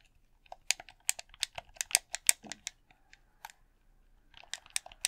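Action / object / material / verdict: tap / plastic game controller / plastic / none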